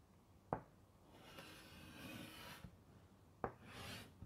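White chalk scratches and rubs across a large, flat black chalkboard in a wooden frame held upright, writing "Sleep" and then underlining it. Two sharp taps of the chalk against the board stand out, each followed by a soft, airy scraping drawn across the surface.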